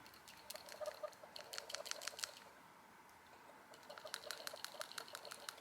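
The original PCV valve from a 2008 Honda Civic, removed after 15 years and 27 oil changes and never cleaned, is shaken to rattle its internal plunger. Its spring tension is very weak. Only a faint, quick, high-pitched ticking rattle is heard in two bursts separated by a short pause, with not much sound coming from the valve.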